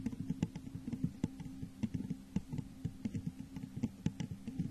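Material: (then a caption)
Glass. Long nails tap the sides of a hollow, textured clear glass vase turned upside down over a microphone. About 18 quick, uneven taps sound soft and hollow, with a low resonant tone and almost no ring.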